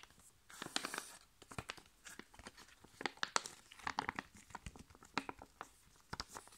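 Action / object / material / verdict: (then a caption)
scrape / foil-laminated plastic sachet / foil laminate / none. A flat, sealed, foil-laminated plastic sachet holding a sheet face mask is gripped, squeezed and scratched with long nails. It gives off a series of sharp, bright crinkling and crackling bursts with short, dry tearing-like scratches between them. The sound is quiet and close, with very little low end.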